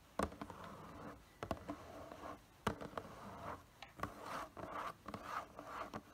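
Fingertips and nails tap and scratch the side and front panels of a hollow, printed cardboard figure box held upright. Sharp, hollow taps are separated by soft, papery scraping and rubbing with a dry midrange texture. The sound is quiet and close.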